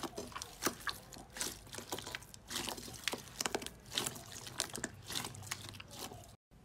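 A large mound of green slime full of crunchy beads or jelly bits in a glass bowl is pressed, kneaded and squeezed with fingertips and a fist. It makes a steady stream of wet, bright crackles, pops and squelches. The sound cuts to near silence just before the end.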